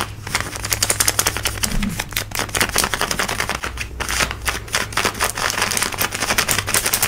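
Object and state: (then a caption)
Denim jeans scratched with fingernails. Fingertips and long nails scratch quickly along light blue denim jeans worn on the hip and thigh, working over the fabric, seams and pocket. The result is a dense run of sharp, bright, dry scratching strokes with almost no ring, over a low steady hum.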